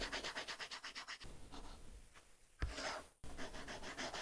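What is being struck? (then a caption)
Stylus on matte plastic film over glass tablet screen. A plastic stylus tip rubs quickly back and forth across an iPad's glass screen fitted with a flat, solid matte plastic protector film, filling in color. It makes a dense, rhythmic scratching and rubbing with a low thump underneath. The strokes soften in the middle, then a brief louder, brighter scrape cuts off abruptly before the quick back-and-forth strokes resume.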